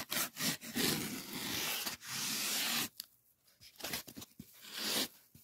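A solid white polyethylene packing foam sheet is rubbed quickly with fingers, giving a squeaky, zip-like friction sound that is bright and hissy. The first three seconds are a dense, continuous rubbing, followed by shorter, sparser bursts of scraping with brief quiet gaps between them.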